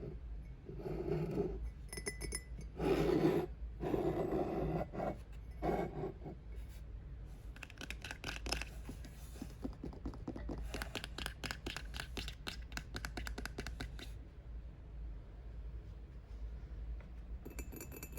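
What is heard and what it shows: A ceramic mug from a book box, made for The Poppy War, is tapped on a bookshelf. Quiet, irregular light taps and glassy clinks with short ring come in quick flurries over a steady low hum.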